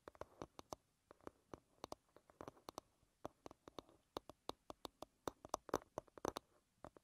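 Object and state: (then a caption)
Wooden hairbrush back. Long red nails tap and scratch the smooth, solid wooden back of an oval wooden paddle hairbrush lying bristles down. About thirty short, dry, hollow clicks in an irregular rhythm, with no ring and midrange tone plus bright edges, are broken up by brief soft scratching between them.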